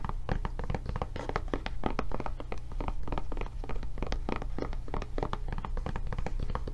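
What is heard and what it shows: Long nails tap rapidly on the raised flap and body of a blue silicone rubber tablet case held up in the air. The result is a dense stream of short, dull, rubbery taps with almost no ring, over a steady low hum.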